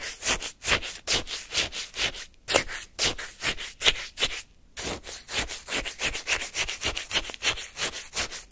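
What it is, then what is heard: Shaved-ice sorbet scraped with wooden spoon. A flat wooden spoon scrapes and scoops pale, granular frozen lemon shaved-ice sorbet in a paper cup. It makes a rapid series of crisp, bright, gritty scraping strokes with little low end, each dying away almost at once, with brief pauses near the middle.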